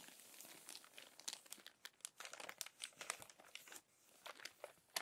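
Long-nailed fingers press and smooth the wrinkled pages of an open, crumpled glossy paper magazine and turn a page. Dense, bright crinkling and crackling rises and falls in quick bursts with sharp snaps, and there is almost no low end.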